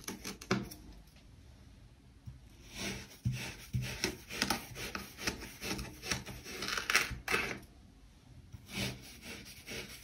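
A metal kitchen knife held in one hand slices down through a solid pink kinetic sand heart with sprinkle dots, ringed by small solid kinetic sand cylinders on a white table. Soft, gritty cutting and scraping sounds come in irregular bursts, with a bright, rasping texture and little low end.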